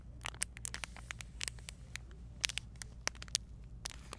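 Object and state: Plastic bag packaging crinkled.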